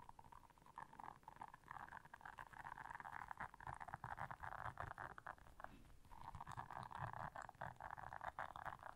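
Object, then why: Silicone bristle scrubber pad. Long nails scratch the bristles of a blue silicone bristle scrubber pad while hands squeeze the pad. The result is a quiet, dense, scratchy crackle centered in the midrange, made of rapid ticking flicks over a soft low rumble. It swells and fades in bursts, with a brief lull near the six-second mark.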